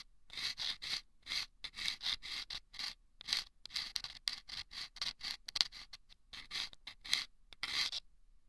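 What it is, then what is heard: Sandpaper-lined paper tube scraped. A thin bamboo ear pick scrapes and scratches inside a small, hollow, taped paper tube lined with sandpaper and fitted over the left ear of a binaural microphone. The result is a quick series of short, dry, gritty rasps, bright and high with almost no low end, separated by brief silences.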